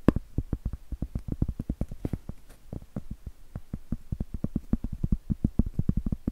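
Acrylic nails tap and scratch the face of a round solid cork trivet, then tap its edge. The result is a quick run of dozens of dull, low, muffled taps that stop almost instantly, with no high or bright content.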